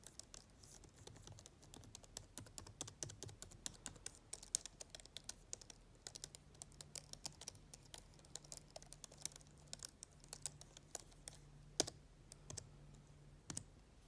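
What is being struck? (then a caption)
Plastic laptop keyboard keys. Long dark nails type and tap on the keys of a black plastic laptop keyboard, making a quiet, steady stream of sharp, bright clicks. Each click dies away almost at once, and a faint low hum sits underneath.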